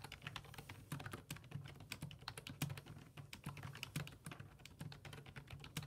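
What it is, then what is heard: Plastic computer keyboard. Fingertips type on the hollow plastic keys of a black full-size computer keyboard resting on a wooden desk. About 46 quick, short taps come in an irregular, continuous run, each a sharp clack with a low, hollow thump beneath a bright click.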